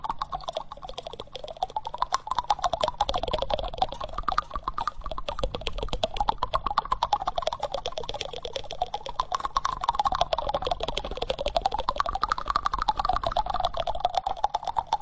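Fingertips and nails tap and scratch the solid bowl of a reddish-brown wooden spoon held close to the microphone. Dense, rapid, uneven clicks and short dry taps, about two per second, run throughout over a soft scratchy rustle. A tonal sound slowly sweeps up and down between roughly 500 Hz and 1.2 kHz beneath the taps.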